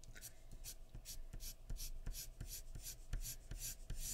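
A graphite pencil tip makes short scratching shading strokes along the jawline of a drawing on a large flat sheet of white drawing paper resting on a wooden surface. The strokes come as a steady run of quick, dry, bright rasps, each with a faint low thump underneath.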